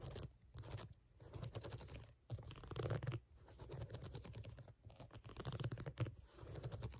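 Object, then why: Rubber shoe outsole. Long nails tap and scratch across the solid ridges of a brown ridged rubber sneaker outsole, close up. Dense, crackly scraping and quick, dull taps come in bursts separated by brief pauses. The sound stays mostly low and muffled, with faint bright scratchy edges.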